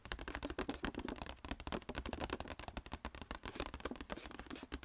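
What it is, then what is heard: Paper gift bag tapped with fingernails. Long red painted fingernails tap rapidly on the paper sides of a small, hollow, striped Sephora paper gift bag held upright. The result is a dense stream of dry, crisp taps with a soft papery body and a short, quickly fading ring.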